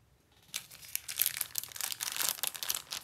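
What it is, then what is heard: Plastic film snack multipack being crinkled. Fingertips with long painted nails handle, squeeze and flip a sealed, full, soft-sided yellow printed plastic film multipack of eight Rocky caramel bars. After a brief quiet start, a dense run of bright, high crinkling and crackling of the film continues to the end, with almost no low end.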